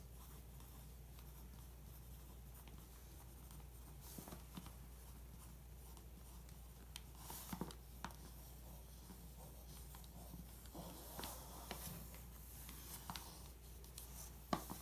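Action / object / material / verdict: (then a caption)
scrape / glossy paper magazine page traced with a pencil / glossy paper / none. A pencil tip traces along the headline and photo on a thin glossy page of an open magazine, making soft, quiet scratching and rubbing strokes with occasional brighter ticks. A steady low hum sits underneath the faint tracing throughout.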